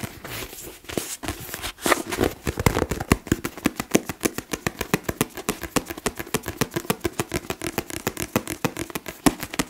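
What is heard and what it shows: A paper book is tapped in quick, uneven bursts, producing dozens of short, dry taps that die away almost instantly. Softer scratchy rustling in the first couple of seconds gives way to steadier, crisper tapping through the rest of the clip.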